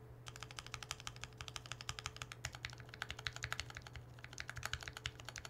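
A Mercury65 gasket-mount mechanical keyboard with no foam or silicone inside is typed on steadily for several seconds. Its keystrokes give a subtle, not harsh clack with bright high clicks, and a low steady hum runs underneath. The keyboard sounds full rather than hollow.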